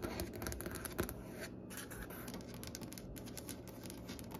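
Long nail tips tap and scratch across the top of a large, solid, striped-grain wooden butcher-block desk, using both hands. The result is a quiet, steady stream of soft, dry scratching and light clicky taps over a low, woody thump, with bright crackling flecks on top and one slightly louder tap near the start.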